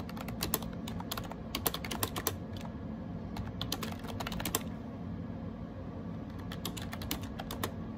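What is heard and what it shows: Fingertips type rapidly on a gray AJAZZ 308i wireless Bluetooth keyboard with round plastic keycaps and a hollow plastic case. Bursts of quick, bright plastic key clicks with short, dry decay ride over a steady low hum, with a brief lull before the typing resumes.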